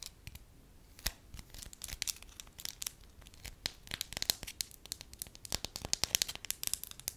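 Long acrylic nails crinkle and scratch a soft beige wax lump that has been stretched into a thin, solid, hand-sized sheet. A rapid, uneven stream of sharp, bright crackles and tearing-like snaps rises above a faint hiss. Each snap dies away almost instantly, with little low end.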